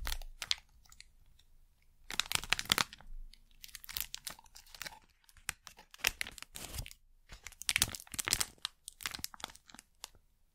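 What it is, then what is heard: Plastic wrapper being crinkled. A thin, flexible printed plastic packet taken from inside a box is crinkled and scrunched between fingers and long nails. Bursts of bright, crackly crinkling come and go with short quiet pauses between them, each crackle dying away almost instantly.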